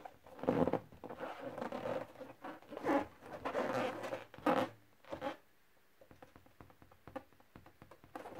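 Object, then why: Inflated latex balloon. A thumb with a painted nail rubs and scratches the surface of a large, inflated yellow latex balloon near its knot, the hollow balloon full of air. Drawn-out squeaky rubbing strokes with a nasal, pitched squeal come first. They give way to quieter, rapid scratchy ticks in the last few seconds.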